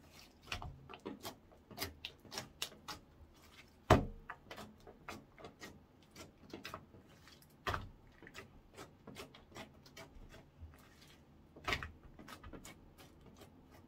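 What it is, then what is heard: Clear slime. Orange clear slime is poked, lifted and squeezed in the hands, then pressed with fingertips. It makes a quiet stream of short, sticky clicks and soft pops, with three sharper, louder pops standing out partway through. Each sound is brief with almost no ring.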